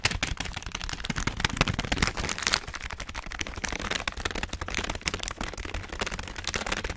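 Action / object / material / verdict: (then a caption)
scrape / plastic foil snack bag / plastic foil / none. A full orange plastic and foil snack bag is crinkled and rubbed with the fingertips of both hands behind the microphone. It makes a steady, dense run of sharp, bright crackles and rustles with a low rumble underneath. The crackles die away almost instantly.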